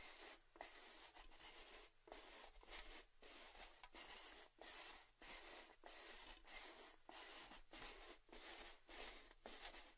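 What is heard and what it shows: Fingers tap and scratch the side and rim of a tall, hollow, printed red metal Baileys gift tin held close to the mics. About 15 bright, hissy scratching strokes repeat at an uneven pace, each separated by a brief quiet gap. The strokes have a soft hollow tone beneath the texture.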